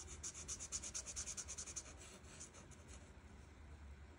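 A felt marker tip rubs repeatedly in short strokes across a flat paper coloring page, filling in dark teal leaves. The quick back-and-forth strokes make a bright, high, scratchy swishing in a fast, uneven rhythm. After about two seconds they blend into a steadier, softer rub.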